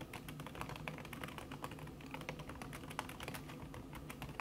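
Fingertips with long red nails type fast on a backlit laptop keyboard in a silver aluminum body, its keys covered by a thin red silicone skin. A steady stream of soft, muted key taps carries over a low hum, each click short and dull.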